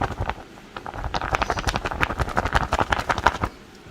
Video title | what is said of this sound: KINI PRINTER DTG DENGAN TINTA YANG KEREN - KIRIM BANJARMASIN | ada efek kertasnya. Kedengeran nggak? Jadi diginiin bunyi kertas gitu